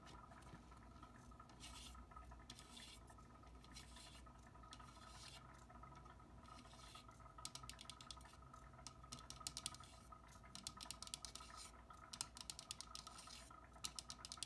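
A fingertip taps and scratches the casing and dial face of a small, round metal three-way soil meter whose probe is stuck in potting soil. Soft, hissy scratching strokes come first, then a run of quick, bright, dry taps with almost no ring. The taps get denser over the last half of the clip, over a faint steady hum.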